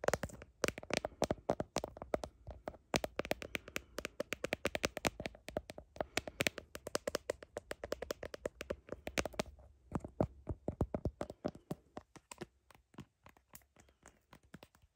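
Long nails tap rapidly across the back of a phone in a blue plastic case with a heart design and over its camera lens area. The result is dozens of short, dry, bright clicks with almost no ring, coming in quick bursts that thin out toward the end.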